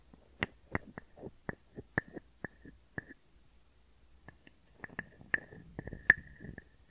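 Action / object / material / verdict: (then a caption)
tap / small carved wooden frog guiro / wood / none. A small, hollow, carved wooden frog guiro is tapped and scraped with a wooden stick. It gives sharp, dry wooden clicks, each with a brief hollow tone near 1.7 kHz. A quiet pause falls in the middle, then faster, busier taps and scrapes end with one loud, bright knock.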